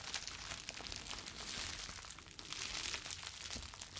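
A clear plastic bubble wrap sheet is crumpled, then stretched between both hands and crinkled with the fingers. The result is a steady, quiet stream of bright, dense crinkling and crackling, with little low end beneath the papery hiss.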